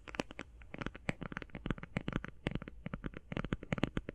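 Fingernails tap fast on the edges and face of a flat, rectangular, hand-sized cardboard eyeshadow palette. The result is a rapid, uneven stream of short, dry, hollow clicks with a low-mid thump and almost no ring.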